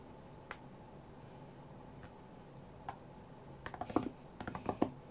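Fingertips of both hands tap on the glass touchscreen of a white iPad lying flat on a mat. A few sparse, soft taps come first, then a quicker flurry of short, dry clicks near the end, over a low background hiss.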